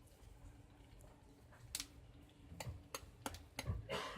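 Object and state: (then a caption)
Crispy roast pork belly crackling. The skin of a roasted pork belly, just out of the oven, is tapped and handled, giving about seven sharp, bright crackling ticks over a low background rumble. The crackling is very crisp, the best it has ever turned out.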